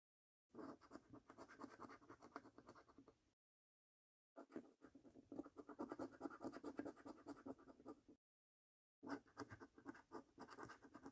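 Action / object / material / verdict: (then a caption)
scrape / paper scratch card with scratch-off coating, scraped with a coin edge / paper / none. A coin edge scratches the scratch-off coating on the games and order-number panels of a thin paper £1 Million Snack Stack National Lottery scratch card lying on a dark table. The clip has three bursts of rapid, dry, rasping scrapes separated by short silences, with a mid-range grainy tone and little low rumble.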